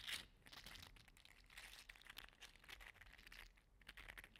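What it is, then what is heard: 3D printed plastic slug toy. A small orange-red 3D printed plastic segmented slug toy is squeezed and flexed between the fingers, so its segments click and rub against each other. The result is a quiet, continuous stream of bright, crinkly clicks and scratchy rubbing, with a louder burst at the very start.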